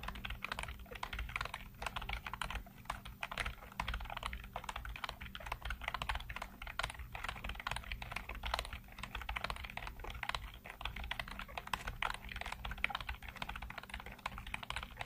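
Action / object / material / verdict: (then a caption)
tap / plastic computer keyboard / plastic / none. Fingertips type rapidly across a full-size black plastic keyboard with hollow keycaps, seen close up. A dense, steady stream of short, dry, clacking key taps continues throughout over a faint low hum.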